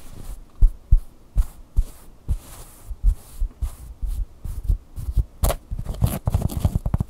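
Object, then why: Stuffed fleece plush toy. Fingertips and nails pat, tap and scratch the fabric beak and belly of a large, soft, filled fleece plush Angry Bird. The result is a series of dull, muffled low thumps with almost no ring, spaced apart at first and then quickening into fast, denser tapping toward the end.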